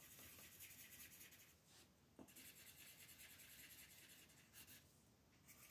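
Long red-nailed fingers move a wooden colored pencil over a thin printed paper mandala coloring page lying flat on a dark table, rubbing and scratching the pencil lead across the paper to fill in color. The result is a soft, steady, bright scratchy rasp of back-and-forth strokes, with a brief pause and a small tap near the middle before the coloring continues.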